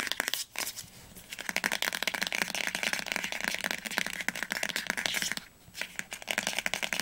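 Long nails tap quickly along the top edge and cover of a teal paperback book lying flat. The result is a rapid, dense stream of crisp, bright clicks with short pauses between bursts.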